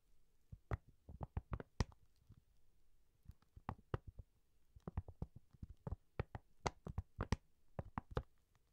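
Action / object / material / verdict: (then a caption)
tap / plastic-coated fabric pencil case / plastic / none. Long nails tap and scratch the glossy printed emoji plastic cover of a cylindrical zippered pencil case held horizontally. Quiet, dry clicks come in irregular bursts and clusters, each dying away almost at once, with a low, dull body and a faint bright edge over a soft low hum between taps.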